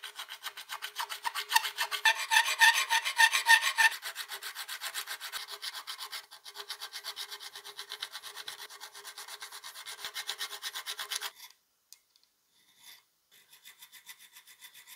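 A needle file scrapes back and forth across the serrated jaw teeth and handle grip of a solid steel plier half clamped in a vise. The quick, steady filing strokes make a dry, bright rasp with no low end, loudest and harshest early on. The strokes stop briefly near the end, then resume more faintly.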